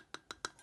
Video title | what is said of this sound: [ASMRadio] 한국에 정착하고 느낀점들 | 이게 소리가 정말 다양하게 있어 예를 들면 뚜껑 둔탁한 소리가 나고